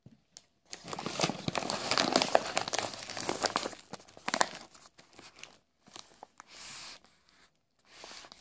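A full, large printed plastic bag of Tarallucci biscuits is handled and crinkled by fingers and palm. Dense, bright crackling runs for about three seconds, then breaks into shorter crinkling bursts separated by brief silences. It ends with a steady rustle and a final soft crinkle.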